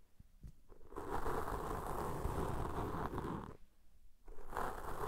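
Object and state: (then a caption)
Foam windscreen scratched with cotton swabs. Cotton swab tips, one held in each hand, rub and scratch two black soft porous foam windscreens on a pair of microphones. The result is a dense, rough, crackling scrape with a deep rumble underneath. It swells in after a quiet start, holds steady, drops briefly near four seconds, and then returns.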